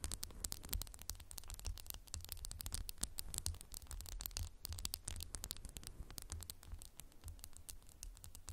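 Fingernails tap quickly and continuously on a candle in a textured glass jar, making a dense stream of short, bright clicks. A steady low hum sits underneath the tapping throughout.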